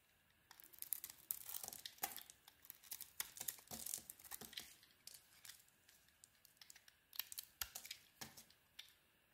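A utility knife blade carves slices and flakes off a solid green soap bar held in the hand. Soft, crisp scraping and crackly cutting bursts come in quick runs with brief quiet gaps, bright and airy with almost no low end.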